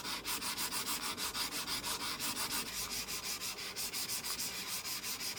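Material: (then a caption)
Glass. A mouse is slid back and forth across a Kyomi Yuyo glass mousepad with a spiky textured surface, making about 15 rapid, steady scraping strokes. The bright, hissy rasp repeats at an even rhythm with almost no low end.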